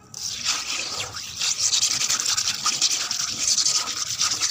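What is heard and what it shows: Long red acrylic nails scratch and rub across a wet patch of water on a flat, rough grey cement floor. A steady, gritty, high-pitched scraping hiss runs throughout, with almost no low end and slight swells as the strokes continue.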